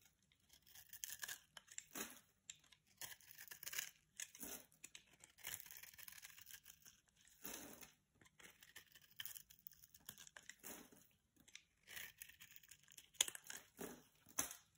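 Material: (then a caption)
Soap. A blade scrapes scored scales and crumbs off a solid purple-and-pink striped bar of soap held in the hand. The result is a series of short, dry, crunchy scraping and cutting bursts, bright and airy with almost no low end, separated by brief quiet gaps.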